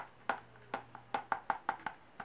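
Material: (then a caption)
Leather. Nine sharp, dry taps land on an original Foxy Fix traveler's notebook in standard size, with a mango-colored leather cover and mint elastic. Each knock is short and hard, with little ring and a hollow tone centered in the midrange. The crisp, loud taps show the leather is stiff, sounding harder than a softer leather would.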